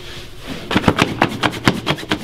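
A hand rapidly buffs the toe and vamp of a polished black leather dress shoe with a white cloth held taut, the shoe worn on a foot resting on a wooden shoeshine stand. After a quiet start, eight quick, rhythmic, brushy swipes follow, each a short bright rasp that stops almost at once.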